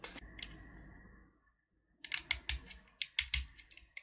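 A small solid blue sugar-coated chocolate button (Gems) is held in the fingertips while its hard candy shell is scraped and carved with a metal snap-off utility knife blade, chipping off flakes. Two bright scrapes and a faint fading ring are followed by a short silence, then a quick run of sharp, crisp scraping clicks, thirteen cuts in all.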